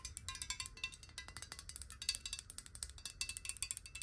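A clear glass water bottle with water in it, held in both hands, is tapped and scratched quickly with long nails. A rapid, steady run of bright, clinking taps and light scratches fills the clip, each tap ringing only briefly.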